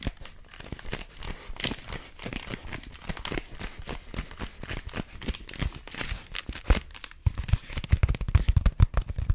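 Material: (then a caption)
Paper. Long fingernails squeeze, scratch and tap a long, hollow, white rolled paper tube, producing a dense run of dry crinkling, scraping and crackling bursts. Toward the end the sound turns to sharper, louder taps with a dull, low thump.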